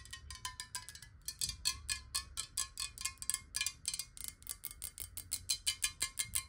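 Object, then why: Glass bottle with water. Long nails tap quickly along the side of a clear glass bottle of water held tilted. Each tap is a short, bright glassy click with a faint ringing tone near 1 kHz, and the taps run together in a fast, uneven rhythm with a brief pause early on.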